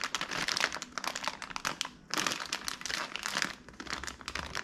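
A small clear and printed plastic bag of Tootsie Roll Midgees, full of wrapped Tootsie Rolls, is held in the hands, turned over and crinkled with the fingertips. Dense, bright crackling and crinkling runs throughout, easing briefly around the two-second mark before picking back up.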